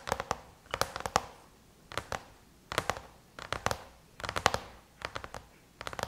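Long chrome-painted nails tap rapidly on the closed lid of a silver aluminum MacBook, in quick bursts of sharp, clicky taps separated by short pauses. Each tap is dry and brief with a light metallic tone around 790 Hz, bright edges, and very little low end, about two dozen taps in all.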